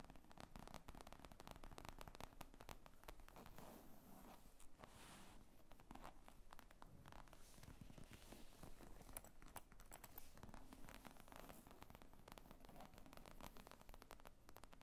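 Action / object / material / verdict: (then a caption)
scrape / leather briefcase / leather / none. Long nails tap and scratch across the top of a black leather zippered briefcase lying flat on a table, its hollow, padded body giving the sound a soft, muffled character. Quiet, rapid, closely spaced taps blend with scratchy rustling in a steady stream throughout. The sound stays dull and low-heavy, with each tap dying almost instantly.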